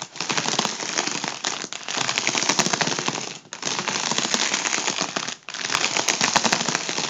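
A fingertip taps and scratches the taut foil of an inflated, hollow, air-filled tubular section of a gold mylar foil balloon held in hand. The result is a dense, bright crackle of rapid taps and scrapes, coming in four long bursts separated by brief dips.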